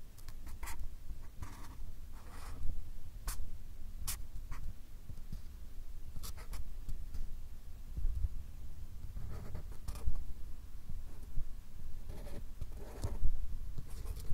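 A fine marker pen draws a character outline on a stack of white paper cards held by hand in front of the microphones. Short, bright scratching strokes of the tip across the paper surface come in irregular bursts over a steady low rumble, with quiet pauses between strokes.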